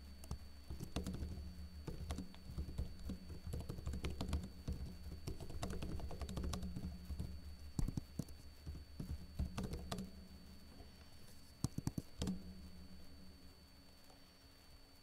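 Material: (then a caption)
Plastic. Fingertips with short blue-painted nails type on a backlit plastic laptop keyboard with hollow keycaps. Quick, dry key taps come in uneven bursts over a steady low hum, with a few sharper clicks. The typing thins out and grows quieter toward the end.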